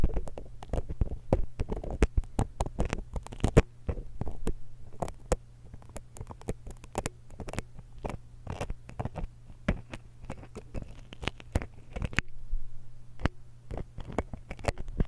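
A steel dental pick scratches the metal grille of a small silver X/Y stereo microphone capsule held in one hand, producing a dense run of short, sharp scrapes and clicks. The clicks flash up into the high range, while most of the energy stays in the low end. A steady low hum runs underneath throughout.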